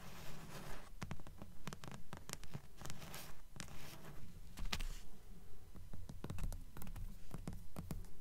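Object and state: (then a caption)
Paperback book with card cover. Long nails tap and scratch the glossy card cover and spine of a thick blue paperback book, first held upright and then turned to show the spine. A steady run of quick, dry taps comes at a fairly regular pace, mixed with soft scratching. The sound is muffled and low-heavy, with only brief bright clicks.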